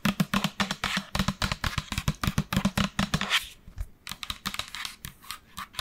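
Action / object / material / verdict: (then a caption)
tap / plastic lotion pump bottle / plastic / none. Long nails tap and scratch a large, hollow pink and white plastic lotion bottle with a black pump, held in both hands close to the microphone. A rapid run of crisp, dry clicks carries a hollow low knock. After about three and a half seconds it thins into softer, sparser taps and scratches.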